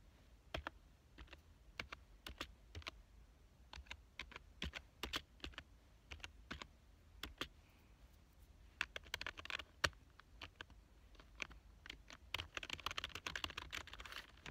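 A black plastic full-size keyboard lying on a couch is typed on by one hand with its fingertips. Sharp, bright, dry clicks come slowly and unevenly at first, then run into quicker, denser bursts of typing with a high rattle near 9 to 10 seconds and again through the last few seconds. Each keystroke dies away almost instantly.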